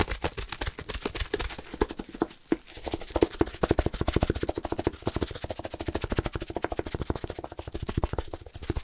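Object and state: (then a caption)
Plastic-wrapped compressed hay block. Gloved hands grip, squeeze and quickly tap a plastic-wrapped compressed hay block while moving it around. The result is a rapid, continuous run of short, dull taps and thumps with soft plastic crinkle, each hit dying away almost at once, with a few louder slaps standing out.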